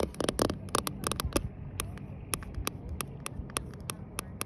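Medium-length painted nails and fingertips tap and scratch the ribbed side panel of a hollow green polyethylene Lifetime Eco Sport Elite kayak. A quick, irregular series of sharp, dry clicks and short scrapes rises over a steady low rumble, with each tap dying away almost instantly.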